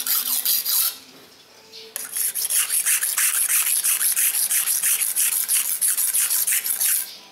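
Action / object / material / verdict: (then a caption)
scrape / steel knife blade on an abrasive whetstone / stone / none. A steel knife blade is held at an angle and scraped along a dark grey solid whetstone with fingertip pressure to sharpen it. A brief burst of scraping is followed by a quiet pause, then about seventeen quick, steady back-and-forth rasping strokes. The strokes are bright and hissy, with almost no low end.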